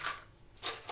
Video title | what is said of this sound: blog 👀 gamelle plat du soir 🍅 réponse a l abonnée @rose06 | Même quand on pose, vous voyez, ça sonne, ça veut dire que celui-là, il va pas tarder à s'enlever